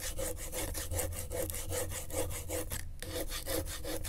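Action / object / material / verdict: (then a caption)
scrape / corrugated cardboard sheet scraped with a pen tip / cardboard / none. A gloved hand traces the tip of a pen across the corrugations of a flat sheet of brown corrugated cardboard lying on griptape. Fast, repeated scratchy strokes rasp back and forth like sawing, each carrying a faint tone and set over a heavy low rumble. The rhythm pauses briefly near the end before the strokes resume.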